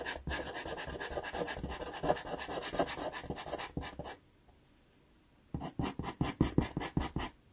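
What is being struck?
Pastel pencil rubbed on sanded pastel card.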